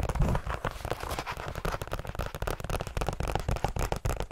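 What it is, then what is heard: Paperback book with card cover. Long nails rapidly tap and scratch the card cover of a small hand-held paperback book with a red and black cover. The result is a fast, uneven stream of dull, bass-heavy taps mixed with crackly, papery scratching, each tap dying away quickly.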